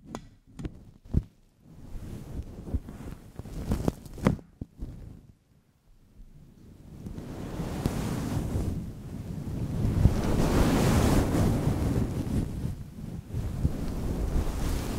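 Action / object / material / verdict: scrape / synthetic fur microphone windscreen / synthetic fur / none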